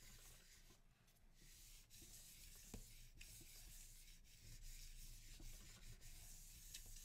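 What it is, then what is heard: Paper sheet rubbed on a linoleum block. A sheet of printing paper lies flat on an inked linoleum block while palms and fingertips steadily rub and burnish it. The sound is a quiet, continuous rubbing and soft papery swishing, mostly low in tone with a faint bright hiss and occasional light brushing strokes throughout.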